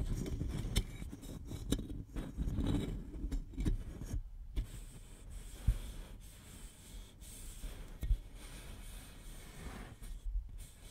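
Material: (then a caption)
Aluminum. Fingernails scratch and tap the side of a single hollow red Shasta cola aluminum can held horizontally against the microphone. Low, soft scraping runs throughout, broken by seven sharp, dull taps that stop almost instantly with no metallic ring.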